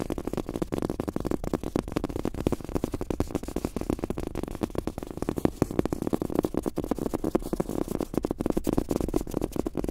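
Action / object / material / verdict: tap / fabric-top rubber mouse pad / fabric, rubber / none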